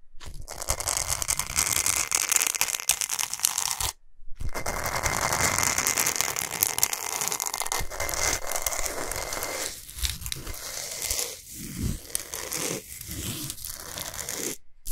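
Long pointed nails scratch fast across a large, flat, solid pink Himalayan salt block. The result is a dense, bright, gritty scraping and crackling that runs almost continuously, with brief silent breaks near four seconds and at the end, and some choppier strokes toward the close.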